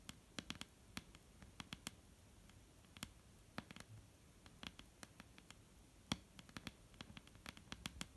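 Long, almond-shaped painted nails on both hands tap slowly on a solid, flat, dark-brown wooden tabletop. Around thirty short, sharp clicks with bright tops and a light woody body stand out at irregular intervals over a quiet background. Each tap dies away almost instantly.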